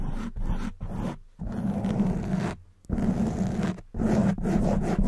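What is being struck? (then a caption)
Foam microphone windscreen. Long white nails scratch fast on both sides of a hollow black foam windscreen fitted over a silver condenser microphone. The sound is a dense, rough, zipper-like scraping with a strong low rumble and a hum near 200 Hz, broken into bursts by short pauses.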